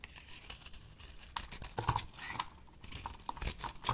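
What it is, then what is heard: Bar soap being shaved. A box-cutter blade held in the hand cuts and shaves a solid rectangular pink dry soap bar with embossed lettering into chips. The sound is a crisp, crinkly scraping broken by sharp little clicks and snaps as the chips break away, with a faint low rumble underneath.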